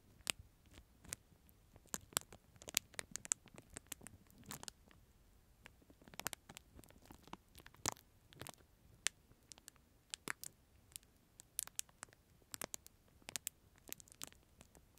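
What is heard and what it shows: A disposable plastic spoon sealed in a small, clear, thin plastic film sleeve is held in both hands close to the microphone while fingertips rub, crinkle and scratch the wrapper. Dozens of sharp, bright crackles and clicks come in irregular bursts over a quiet, soft rustling, each dying away almost instantly.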